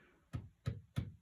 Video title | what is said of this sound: SOM DE PEDRA EM BOM JESUS DA LAPA | não tem som nenhum